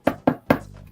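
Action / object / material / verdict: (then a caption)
knock / thick painted EVA foam prop head / EVA foam / hard. Three quick knocks on a pumpkin-head prop made of thick, about 10 mm, EVA foam covered in a lot of paint. Each knock is a short, hard, plastic-like tap with a mid-pitched body and almost no ring, though the foam still has some flex.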